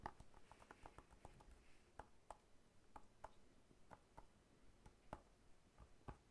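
A whole fresh pineapple with its crown, solid with a scaly rind, is held horizontally and tapped on the rind with the fingertips. A steady series of soft, short, dull taps carries a faint woody tone around 830 Hz. Each tap dies away almost instantly, at a quiet level.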